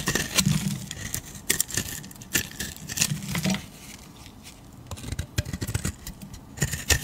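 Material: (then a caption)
Soap. A metal utility blade shaves a solid, beige, palm-sized oval soap bar, lifting curls. It makes a run of short, crisp scrapes and cuts with bright edges over soft low thumps. A quieter stretch comes in the middle before the scraping picks up again.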